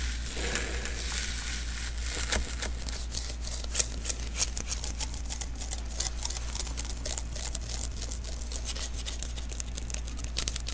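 Fingertips tap and pat the sticky surface of a small, hollow adhesive paper roll, a lint roller refill, first lying on the table and then held in the hands. Quick, irregular, bright sticky clicks and crackles follow one another rapidly over a steady low hum.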